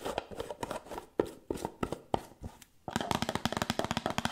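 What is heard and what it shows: Long nails scratch and rub the gold metal lid and rim of a small round white cosmetic jar held in one hand, making quick, dry scratches and clicks with no ring. The strokes come in irregular bursts, then turn faster and denser after about three seconds into a steady run of sharp, bright taps.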